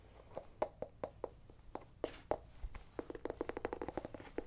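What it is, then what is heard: Small pumpkin, hollow. Fingernails scratch and tap the ribbed skin of a small, whole, hollow orange pumpkin held in the hand. Quick, dry, hollow taps around 600 Hz come in an uneven run, with soft scratching between them. The taps pick up pace and cluster more densely toward the end.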